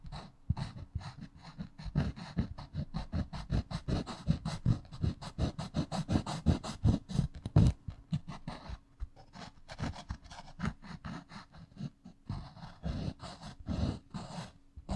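The metal ferrule and eraser end of a wooden pencil tap and rub against the rough side of a solid, porous grey pumice stone. The result is a fast, irregular run of short, dull, scratchy taps with a low, thudding body, easing off around the middle before picking up again.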